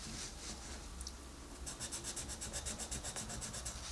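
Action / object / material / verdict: scrape / wooden colored pencil on a paper coloring-book page / paper / none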